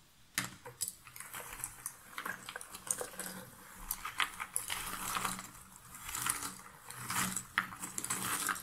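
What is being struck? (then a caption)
Cardboard jigsaw puzzle pieces in a box lid. One hand scratches and rakes its fingertips through a pile of cardboard jigsaw puzzle pieces in a shallow box lid. The result is a dry, bright rustle and clatter of small clicks that swells and fades in uneven waves, with little low end.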